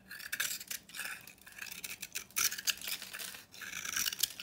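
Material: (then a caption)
Soap. A solid rectangular bar of dry soap, painted copper on the outside with a yellow-orange interior, is held in hand and shaved with a utility knife into dry flakes. Crisp, scratchy scraping comes in quick bright bursts with a dry crumbling texture and no low end. Each stroke stops sharply, leaving no ring.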